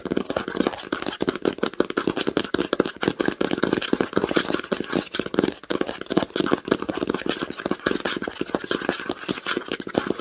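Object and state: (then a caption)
Cloth-bound hardcover book. Long acrylic nails tap rapidly on the cover of a red cloth-bound hardcover book lying flat on a blanket. A continuous stream of quick, dry taps with a muffled mid-range knock and a light clicky edge, each dying away almost instantly, runs steadily for about ten seconds.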